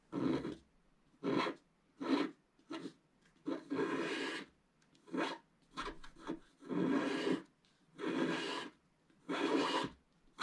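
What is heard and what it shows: A wooden stylus scratches the black wax coating off a flat scratch-art paper sheet in its upper area while the other hand rests on the sheet. Raspy, papery scratching strokes come in intermittent bursts, some short and some drawn out, each with a low rough body and a bright edge. Quiet pauses separate the strokes.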